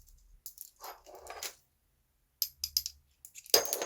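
Steel cartridge casings rattle inside a toy pistol's loaded magazine, which holds up to 8 rounds, as it is shaken. Bright metallic jingles come in short bursts with quick decay, showing the magazine is loaded with metal casings.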